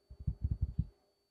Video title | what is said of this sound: How To Use a Q Snap For Cross Stitching - Beginner Cross Stitching #flosstube | it almost sounds like a drum when you tap it